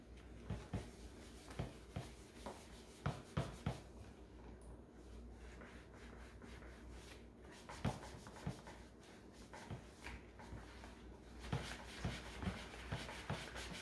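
A cloth held in rubber-gloved hands wipes and rubs the medium-sized hollow green plastic housing of a Keurig coffee maker resting on a granite counter. Steady soft, low rubbing runs throughout, broken by about eleven short dull bumps and taps of the hollow plastic that die away almost at once.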